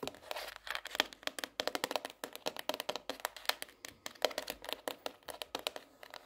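A pink hardcover notebook is lifted and tilted in the hand while long nails tap the underside and edges of its cardboard cover. About 41 quick, dry, clicky taps follow each other in an uneven rhythm, bright and crisp with almost no ring and no low thud.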